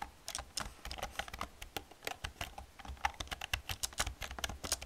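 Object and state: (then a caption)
Plastic computer keyboard being typed on. Both hands type rapidly on a full-size black plastic computer keyboard with hollow key caps, striking with long red-painted nails and fingertips. The result is a quick, uneven stream of sharp, bright clicks and clacks, each with a hollow plastic knock and almost no ring. Faint low thumps sit under the clicks.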